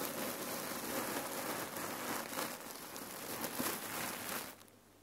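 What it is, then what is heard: Cotton pillow filled with cherry pits. A folded rectangular red cotton neck warmer pillow filled with cherry pits is scratched with long nails and squeezed along its sides by fingers. The result is a continuous dense, bright rattling crunch of shifting pits, like rain or crinkling, which fades out in the last half second.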